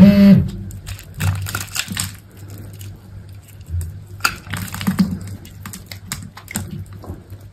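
A utility knife blade scrapes and cuts cubes off a solid, hand-sized green soap bar that is pre-scored into cubes. A louder burst at the start gives way to a run of soft, crisp scrapes and small snapping cuts over a steady low hum, with a sharper crack near the middle.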